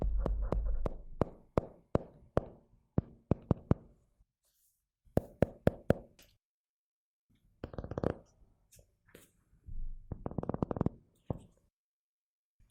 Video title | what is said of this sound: ASMR Tapping : Que Ressens-Tu ? | le carnet qui a un doux son